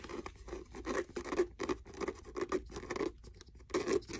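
Fingernails scratch along the cover, spine and page edges of a blue faux leather hardcover notebook held in hand. The result is a quick series of short, dry scratching strokes with a warm mid-range body around 355 Hz, bright edges and almost no ring between strokes.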